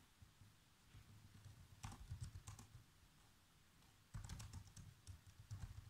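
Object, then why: Plastic laptop keyboard. Fingertips type fast on the black plastic keys of a laptop keyboard, making quiet, dull tapping with soft bright clicks. The clicking gets louder in two quick flurries, one just before two seconds and a longer one from about four seconds to the end, with softer tapping between.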